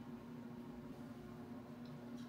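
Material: Nothing is struck.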